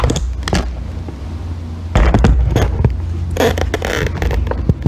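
A solid green bar of soap is scraped with a thin metal tool, shaving soap curls off it. Short dry scrapes and crackly ticks come in an irregular, fairly quick series over a low background hum, growing a little louder and rougher around the middle of the clip.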